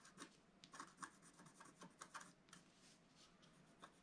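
A wooden stylus scratches the green leaves at the center of a flat scratch art sheet with a black coating. The sound is a quiet series of short, dry rasping strokes with a bright, scratchy edge and almost no ring.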